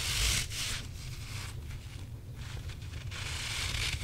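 A grey rubber squishy possum toy held in the hands is rubbed and scratched with the fingertips and squeezed. Gritty, crunchy rubbing and scraping comes in bright bursts over a low rumbling base, with quieter stretches of soft rustling between them.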